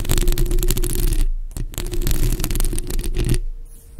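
Long acrylic nail tips on both hands scratch a bare, hollow black metal mesh microphone grille, making a dense, rasping scrape with a heavy low rumble and a bright, gritty top. The scratching stops briefly near the middle, resumes, then cuts off near the end, leaving faint low hum.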